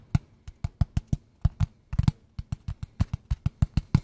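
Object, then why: Small closed cardboard box. A small, closed, hollow square kraft cardboard box held in both hands is tapped with fingertips and nails, giving about twenty short, dull, low thuds in an uneven rhythm. Each tap dies away almost instantly, with a brief bright click from the nails on top.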